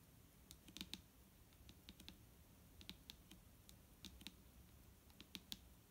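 Tapping on a plastic micellar water bottle produces quick, sharp clicks that sound almost like typing on a keyboard. The clicks land in irregular clusters over a quiet background, each bright and very short with almost no ring.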